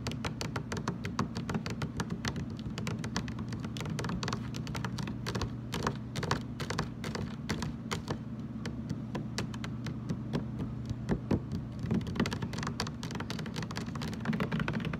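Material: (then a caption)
Plastic. A large, hollow, blue translucent plastic jug stands upright on a table and is tapped with fingertips and short nails around its ridged base. Quick, dense, light taps and clicks run steadily over a low, hollow thrum, and each tap dies away almost at once.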